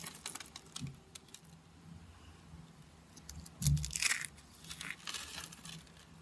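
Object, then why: Thin curled white soap flakes. Small rosettes of thin, dry, curled white soap are crushed between the fingertips into flakes over a wooden surface. Brittle crackles and crunches come in an irregular run, with a louder burst near the middle and bright, crisp snaps over a low hum.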